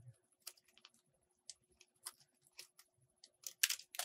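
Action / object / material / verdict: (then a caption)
scrape / bar of soap cut with a metal blade / soap / none. A metal box-cutter blade carves a solid purple soap bar, making a quick run of short, crisp scraping cuts. Each scrape is bright and dry with almost no ring, spaced by brief silences and building to a denser, louder flurry at the end.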